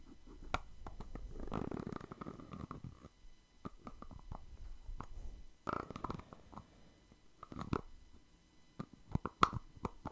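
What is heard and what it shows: A small round plastic cosmetic cream jar with a white lid and teal body is held in one hand while fingertips tap and scratch its lid and sides. Quiet, close hollow taps and soft scratching rustles come in bursts, with sharp clicks standing out near the end.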